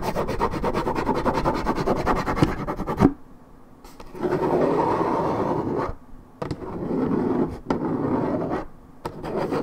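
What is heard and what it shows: Long nails scratch the side panel of a hollow Minute Maid 1.75 L coated paperboard orange juice carton, its fill unknown. Rapid, dry, rasping scratch strokes come in sustained bursts separated by brief quiet pauses, with a mostly low-mid papery texture.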